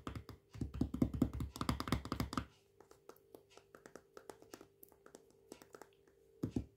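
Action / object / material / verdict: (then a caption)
tap / plastic jar with plastic lid / plastic / none. Fingertips and nails tap the lid rim and side of a full plastic peanut butter jar with a blue plastic lid. Quick, dull, thunking taps come in a dense flurry for about two and a half seconds, then thin out into sparse, lighter ticks before a short final burst, over a faint steady hum.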